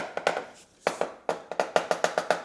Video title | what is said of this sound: Tile Tenting CATASTROPHE! --- WHAT CAUSED THIS??? | You hear that more hollow sound?